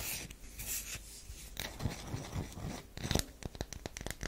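Long nails scratch across the scored surface of a solid round DURU bar of soap held in an open palm. Soft, dry rasping strokes build into a run of quick, sharp scratches and light taps toward the end, each with a bright, crisp edge that stops almost instantly.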